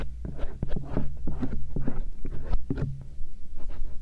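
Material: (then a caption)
Silicone. A thin stainless steel earpick scratches around the ear canal and ridges of the soft silicone ears on a binaural microphone. It makes a steady run of soft, close, low-heavy scraping and rubbing strokes with quick, dry little ticks and almost no ring. The sound is muffled, with little brightness.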